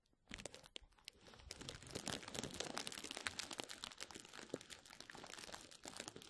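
A rolled tube of clear plastic bubble wrap placed over a microphone is rubbed and squeezed by fingertips. After a brief quiet start, dense, bright crinkling and crunching builds into a continuous stream of sharp crackles and rustles that lasts to the end.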